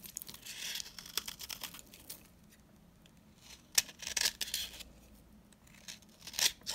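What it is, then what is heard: Dry soap bar scraped with a blade. A utility knife blade scrapes a solid, dry green soap bar held in the hand, shaving off crumbly powder and chips. Bright, dry rasping and crackling come in bursts, with sharp scraping strokes standing out near the middle and end. Quiet gaps fall between the bursts.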